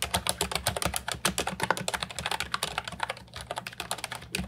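Continuous fingertip typing on the round plastic keycaps of an Ajazz 308I brown and white retro mechanical keyboard with a hollow plastic body, resting on a wooden desk. About 29 short, bright clicks and clacks come in a quick, steady run, each dying away almost instantly, with a faint low hum beneath.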